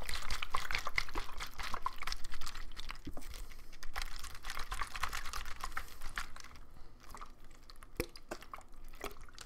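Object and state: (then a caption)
Partly filled plastic water bottle. A medium clear plastic water bottle with a green cap and blue label, partly filled with water, is held in the hand and shaken so the water sloshes inside. Irregular splashing and sloshing come in quick bursts with bright, crackly transients over a steady low rumble, growing slightly quieter toward the end.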